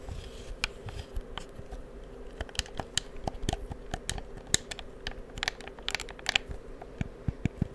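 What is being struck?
Plastic game controller.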